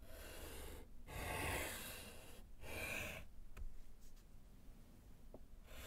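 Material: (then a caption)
Slate. A gloved hand writes with pink chalk on a small, flat, solid slate chalkboard set in a wooden frame. Three broad, hissy scratching and rubbing strokes are heard, separated by brief pauses. The sound then drops to a quieter stretch with a few faint ticks.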